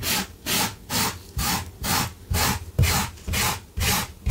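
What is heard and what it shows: A gloved hand vigorously scrubs a blue low-pile fabric carpet runner on the floor with a small yellow-handled wire brush, while a metal tin sits still beside it. Each back-and-forth stroke makes a bright, raspy scratching burst with a low thump under it. The strokes repeat at a steady pace, about two per second, with short quiet gaps between them.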